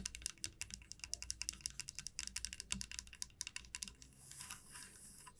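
Long nails tap and rub across the surface and teeth of a solid light-wood wide-tooth comb lying flat on a felt mat. A quick, uneven run of sharp, bright clicking taps fills the first four seconds. It then gives way to a softer, hissy scratching rub.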